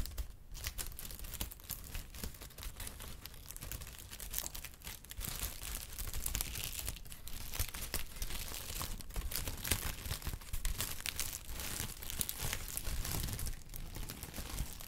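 Brown kraft honeycomb packing paper is rubbed and crinkled with fingertips. The result is a dense, steady stream of bright crinkling and crackling with a low, soft rumble underneath, and it holds an even level throughout.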